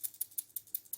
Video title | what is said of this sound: UniDyn 2025 : First Look sur la nouveauté de DynaVap 🔥 | là vous l'entendez clairement bouger